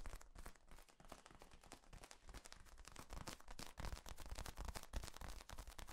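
Fingertips squeeze and rub the ribs of a large, hollow, yellow corrugated plastic tube that is flexible and compressed upright. The result is a dense, uneven stream of rapid crackling clicks and low, hollow thumps, with bright ticking edges over a deep rumble.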